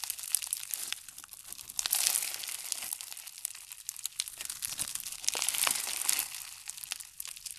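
A large mass of pink foam bead slime (floam) is squeezed and pressed with the fingers and thumbs. It gives a dense, bright crackling of tiny pops, with louder bursts around the two-second mark and again near five and a half seconds.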